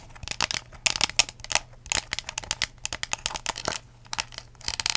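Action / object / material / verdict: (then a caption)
tap / ridged plastic cup tapped and scratched with fingernails / plastic / none. An empty, hollow clear ridged plastic cup with a curly straw is held upside down with its blue lid at the bottom and tapped and scratched with long acrylic nails. A quick, irregular run of crisp, bright clicks and crinkly scratches follows, each tap dying away almost instantly with little low end.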